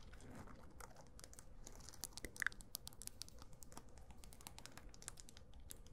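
A small hand-held disco ball covered in small glass mirror tiles, about palm-to-grapefruit size and likely with a hollow or foam core, is held in one hand and tapped and scratched across its tiles with long acrylic nails. The result is a quiet, dense stream of rapid, dry, bright clicks and scratchy, crinkling ticks that die away instantly. A few slightly louder taps stand out near the middle.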